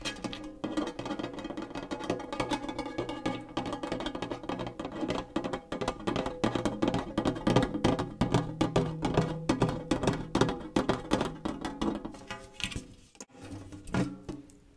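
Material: Metal.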